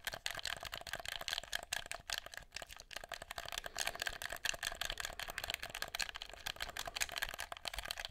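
A black, hollow, handheld plastic game controller is held close to the recorder and tapped and clicked with fingertips on its buttons and shell. The result is a steady run of quick, dry, bright clicks and taps that fade almost instantly, with little low end.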